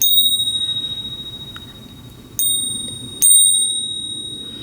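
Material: Silver.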